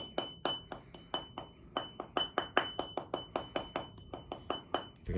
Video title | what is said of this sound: Доводим наждак до ума #5: Почему бьёт камень и как это исправить | We tapped it, and there was no dull sound.